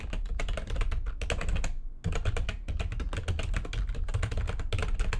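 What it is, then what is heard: Plastic computer keyboard being typed on. Fast typing with long nails of both hands on a full-size plastic backlit computer keyboard makes a dense run of quick, short clicks and taps that stop briefly near the two-second mark and then resume. Each keystroke dies away almost instantly over a steady low rumble.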